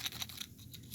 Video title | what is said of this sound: Fall-Winter-Indoor Seed Sowing Using The Paper Towel Method | shake it and hear the rattling. You hear that? So that lets you know it's ready.